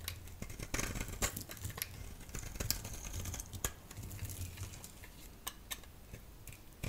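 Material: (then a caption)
Soap. A solid yellow rectangular bar of soap, held in the hand, is scraped into flakes with a utility blade. Quick, crisp, bright scraping ticks and crackles come in an irregular run over a steady low hum, with a few sharper snaps standing out.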